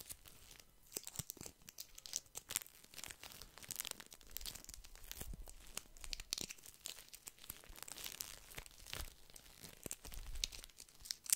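A small, soft pack of paper tissues wrapped in thin plastic film is held in one hand and squeezed and scratched with the fingertips. It makes continuous bright, crisp crinkling and crackling at a quiet level, with dense irregular bursts over the whole clip. Each burst stops dry, with no ringing.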